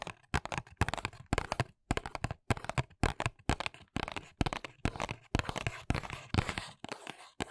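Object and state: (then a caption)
Paperboard box. Long nails scratch and tap the printed back of a small white paperboard press-on nails box held in both hands. The result is a dense run of short, dry scratchy bursts and crisp taps with a crinkly texture and no ring after each contact.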